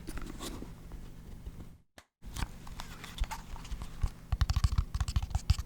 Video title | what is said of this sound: Satisfying Lid Sounds ASMR Tingle, Relax, Sleep, Study, Enjoy | That one makes a little softer sound when I tap on it.